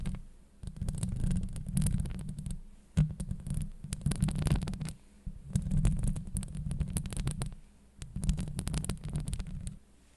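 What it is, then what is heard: Metal mesh microphone grille being scratched. Long blue acrylic nails scratch a hollow woven steel microphone grille, producing dense bursts of deep, rumbling friction with bright crackling streaks. The scratching comes in four sustained passes separated by brief pauses.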